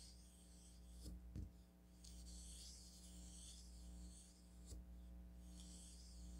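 A thin wooden stick is dragged and stirred through fine pink craft sand filling a small striped onyx stone cup. Soft, bright rubbing and scraping comes in waves over a steady low hum, broken by a few brief sharp taps.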